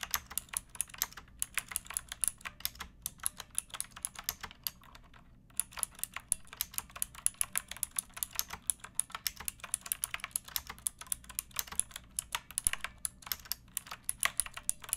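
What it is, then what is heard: Plastic mechanical keyboard. Fingertips with long nails type steadily on a pink backlit mechanical keyboard with plastic keycaps resting on a wooden block. The result is a rapid stream of crisp, bright clicks and clacks with very short decay, pausing briefly around the middle before the typing resumes.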